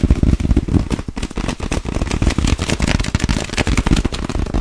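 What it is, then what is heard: Clear plastic bag. An empty clear plastic sleeve bag, stretched between both hands, is tapped and scratched quickly with long acrylic nails. A dense run of short, dry crackling taps and rustles follows one another almost without pause, with a heavy low thump under the sharp crinkle.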